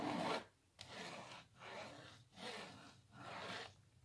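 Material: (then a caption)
Canvas. A small printed canvas on a hollow wooden frame, held upright, is scratched with long natural nails. Five raspy, bright scratching strokes sweep across the surface, separated by brief quiet gaps.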